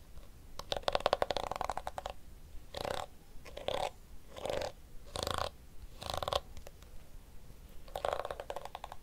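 Fingernails strum and scratch the pink flexible plastic teeth of a small handheld blue plastic detangling hairbrush. It makes quick bursts of dry, rattling clicks and scratchy crunches, each stroke a rapid run of tiny ticks with a mid-pitched plastic ring. Short quiet pauses separate the strokes.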